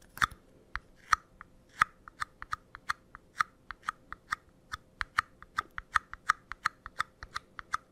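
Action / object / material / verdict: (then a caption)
tap / empty paper cup / paper / none. A small empty paper cup with a pink printed pattern, held upside down, is tapped and scratched on its base and sides with fingernails. About thirty short, dry taps and clicks come in an irregular rhythm, each with a hollow papery tone around 1.3 kHz and a bright, crisp edge. Each one dies away almost instantly over a faint steady hum.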